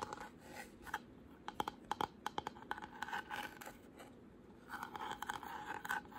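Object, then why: Carved wooden panel, painted. Short pink nails tap and scratch a solid square wooden panel painted white with a deep carved flower relief. Quiet, dry scratching runs through the clip, broken by a run of sharp, short taps with a bright mid-range click and almost no ring.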